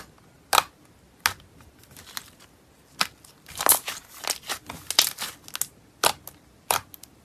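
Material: Slime.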